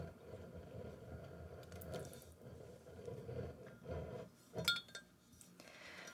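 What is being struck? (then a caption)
Glass bottle. Fingers tap on a glass bottle of Macallan 12-year Highland single malt Scotch whisky, giving short bright clinks with a ring near 1.4 kHz. One louder clink stands out near the end over a low, rustling background.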